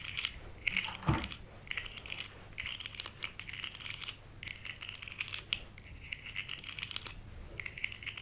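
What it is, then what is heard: Plastic articulated fidget slug toy. Long fingernails scratch and tap across the ridged segments of a small, rainbow-colored, hollow, segmented plastic fidget slug held in one hand. The result is bursts of dry, bright, scratchy clicking and rasping with very short decay, broken by brief pauses and one heavier tap early on.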